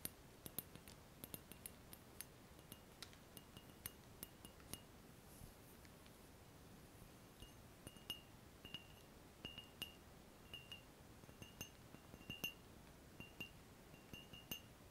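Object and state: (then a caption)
Glass round-bottom flask. A large, clear, empty laboratory round-bottom glass flask with a ground-glass neck, held over bubble wrap, is tapped and clinked with fingertips and nails. The result is a quiet run of short, bright glassy clicks and clinks that die away almost instantly, some carrying a faint sustained ringing tone above a low background hiss.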